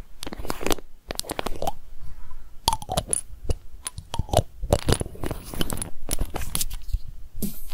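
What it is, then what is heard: Small glass bottle tapped with long nails. A small glass drink bottle with a pink label and an orange cap is held in the hands while long nails tap rapidly on the glass and the label. The result is a dense stream of quick, sharp clicks and taps with brief pauses between bursts.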